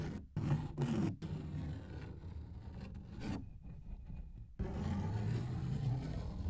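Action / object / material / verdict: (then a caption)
scrape / thin paper page / paper / none. Fingertips and nails scratch and rub across a large, thin paper coloring book page held in both hands in front of the mic. The result is a dense, low, rumbling scrape and rustle in short bursts at first, then a steadier stretch that thins out briefly before returning loud to the end.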